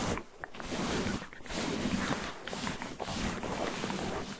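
A red cotton terry towel is draped over a microphone like a head while fingertips and short nails scratch and rub the soft fabric. The close, broadband rustling and scratching runs almost continuously, swelling and easing roughly once a second with a few brief dips between strokes.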